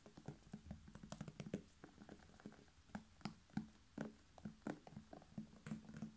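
Fingertips and short nails tap and lightly rub a whole red bell pepper, hollow with a waxy skin and a green stem. Quick, quiet, hollow taps with a low resonant tone die away almost at once, with a faint bright click on some strikes. Soft rubbing fills the gaps, and the tapping comes in a dense run early on before spreading into sparser hits.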